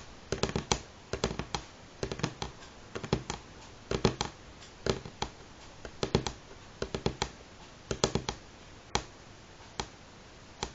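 Fingernail tips of both hands tap in rhythm on a solid light pine tabletop. Quick clusters of sharp, dry clicks with a short woody knock arrive in irregular bursts separated by brief pauses. Each tap dies away almost instantly over a faint steady hiss.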